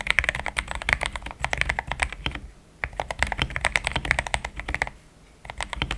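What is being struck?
Plastic mechanical keyboard.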